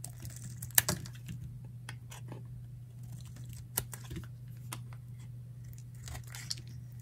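A palm-sized, solid, dry green bar of soap is held in the hand and shaved with a metal utility knife blade into curled flakes. Soft, dry scraping and crinkling strokes sit over a steady low hum. A few sharper, brighter clicks stand out above them.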